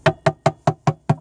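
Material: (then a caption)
Wood. Six dull taps on the painted wooden planking of a boat, where chipped paint let water in and the wood underneath is wet and rotten. Each knock is short and low, with almost no ring or high end. The area will be cut out.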